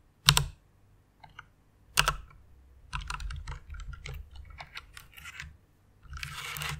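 Fingertips with long nails type on a white plastic mechanical keyboard. Two sharp, bright clacks open the clip, followed by a quick run of lighter clicky keystrokes and a softer flurry of taps at the end.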